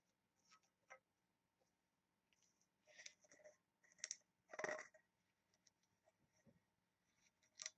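Long acrylic nails tap and scratch the engraved lid of a small, hollow-looking oval brass or bronze box with a ring handle. The result is quiet, dry clicks and bright scratching bursts with almost no ring, the loudest cluster coming near the middle.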